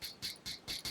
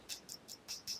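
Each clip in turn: First: plastic watch tapped. Second: glass watch crystal.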